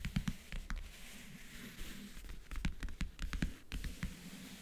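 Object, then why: Leatherette-covered wooden backgammon case. Long, dark-painted fingernails tap and scratch the lid of a closed, hollow rectangular backgammon case covered in a world-map print with metal clasps, resting on a blanket. Quick, dull, hollow knocks with a low body around 170 Hz die away almost at once. Between them runs a soft, airy scratching hiss.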